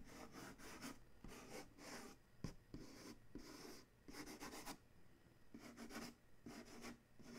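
Fingers rub across the printed side of a corrugated cardboard shipping box, then a fingertip scratches and traces the printed lettering. The result is a quiet series of dry, papery rubbing and scratching strokes with a bright, hissy edge, separated by short pauses.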